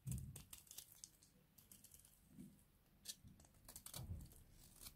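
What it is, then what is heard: Dry bar soap being scraped. A hand-sized, partly carved, cream-colored bar of dry soap is held in one hand and repeatedly scraped along its edge with a small box-cutter blade. The result is a series of quick, dry, crunchy scraping strokes with bright, crisp highs and soft low thumps beneath.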